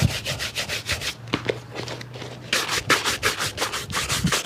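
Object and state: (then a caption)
Leather shoe being brushed. A worn grey leather shoe with a rubber sole, hollow and empty and held in the lap, has its upper scrubbed back and forth with a wooden-backed bristle shoe brush. Quick, bright, hissing brush strokes come in steady bursts with a brief quieter pause in the middle, each stroke a dry rasping swish with a faint low hum underneath.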